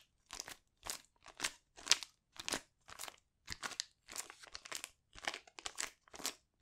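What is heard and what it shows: A small, flat metallic foil sachet holding a sheet mask is held in the hands and squeezed and crinkled with the fingers. It gives a steady series of short, crunchy, crackling bursts, bright and airy with almost no low end. Each burst stops dead with no ring, and the sound stays fairly quiet throughout.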